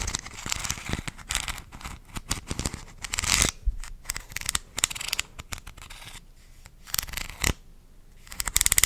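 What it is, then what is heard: Plastic supplement bottle. A purple plastic gummy vitamin supplement bottle with a white cap and label, small to medium and likely partly filled, is held in one hand close to the microphone and tapped and scratched with long dark-painted nails, possibly with a light shake. The result is a fast, irregular stream of bright, dry clicks and scratchy rustles in uneven bursts, with a few sharper, louder taps.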